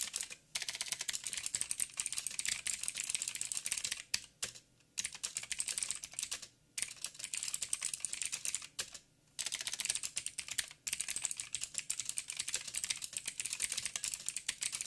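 Fast fingertip typing on a backlit mechanical keyboard with plastic keycaps and blue clicky switches. The sound is a dense stream of bright, sharp clicks that die away instantly, with almost no low end. The typing breaks off in a few brief pauses before resuming.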